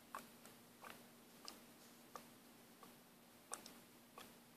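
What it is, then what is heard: Plastic paint bottle with mixing ball. A small orange and white plastic paint or cleaner bottle, partly full of liquid, is held in one hand and shaken so the mixing ball rattles inside. Seven short, bright, ticking clicks centered around 1.2 kHz arrive at uneven intervals over a quiet, steady low hum.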